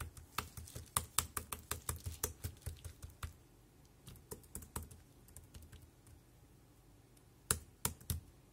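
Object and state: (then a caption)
Plastic keyboard keys. Fingertips press the round keys of a dark grey compact plastic wireless keyboard at a slow pace, giving about twenty short, dry clicks with a low thud and a bright edge. A steady run of taps fills the first three seconds, then quieter, scattered taps follow, and a few sharper, louder presses close the clip.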